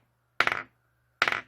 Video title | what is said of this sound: 알카라인 건전지(일회용 건전지) 1초안에 새것과 헌것 구분하는 방법 | 벌써 소리가 딱딱한 소리가 나잖아요.